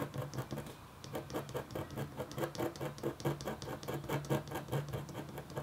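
A metal-tipped stylus scratches a flat, thin, solid black-coated copper foil scratch art board. Quick, uneven strokes give a rapid patter of dry scraping, with a low, steady hum under the bright rasp of each stroke.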